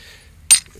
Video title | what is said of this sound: Heat treating flint part 1 | you can hear the difference uh it sounds like glass clanking together